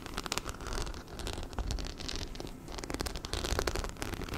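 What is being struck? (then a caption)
Fabric handbag covered in metal-set rhinestones. A small, black, hollow fabric handbag covered in metal-set rhinestones is held close to the mic and rapidly scratched and tapped with fingernails over the studs. The result is a dense, crackly, rain-like patter of quick clicks and scrapes over a soft low rumble, with bright glints throughout.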